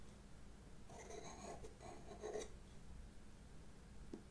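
A Derwent pastel pencil, held by a hand with long red nails, scratches small strokes on black drawing paper in a sketchbook while drawing faces. Soft, dry, raspy scratching bursts come in the middle of the clip over a quiet low hum, followed by a faint tap near the end.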